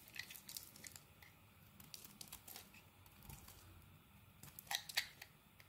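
A utility knife blade carves thin shavings off a solid rectangular black Axe soap bar held in the hand. Quiet, bright, crisp scraping and crackling comes in a run of short bursts, with the sharpest, loudest cuts near the end.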